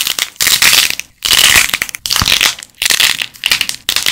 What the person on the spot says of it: esmalte de uñas para crear el sonido crujiente de la arcilla al romperse